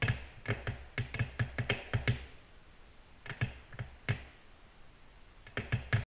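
Long natural nails tap a flat, solid, glossy black glass tabletop, giving 18 short, clicky taps. Each tap has a low thud and a bright click that dies away almost instantly. The taps come in quick irregular bursts separated by brief quiet pauses.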